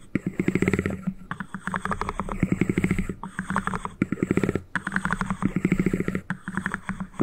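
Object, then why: Small cardboard ring box. Fingertips and nails rapidly tap and scratch the two halves of a small white cardboard ring box held very close to the microphone. The result is fast, dense, low, hollow-sounding patters with a papery scratch on top, coming in bursts separated by brief pauses.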